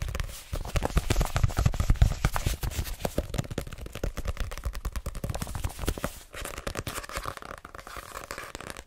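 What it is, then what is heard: Paperback book tapped and scratched. Long painted nails rapidly tap and scratch the glossy card cover of a small, solid paper paperback novel, *My Name Is Lucy Barton*, held in the hands. The result is a dense, irregular stream of short, dry, muffled taps with a deep, thuddy body and crinkly scratching. The tapping pauses briefly near the six-second mark, then continues a little softer.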